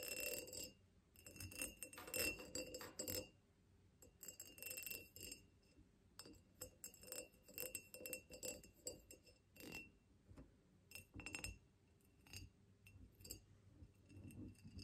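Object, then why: Ribbed glass vase. Long nails tap and scratch along the ridges of a tall ribbed glass vase standing on a wooden table. Bursts of bright, clinking glass taps with short rings near 2.7 kHz mix with raspy scraping across the ribs. Quieter pauses fall between the bursts.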